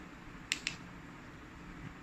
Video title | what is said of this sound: Razer Seiren X Review - Malaysia | mostly build up dengan daripada plastik lah. Dapat rasa boleh kita ketuk bunyi dia, bunyi plastik.